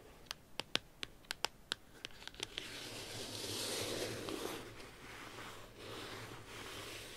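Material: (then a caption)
Paper. Long acrylic nails on both hands tap the white cover of a small flat paper notebook or calendar, printed with a unicorn face, stars and "2021", lying on a table, making eleven quick, sharp, bright clicks. The tapping then gives way to a steady, hissy scratching across the cover that rises, fades and swells again until the end.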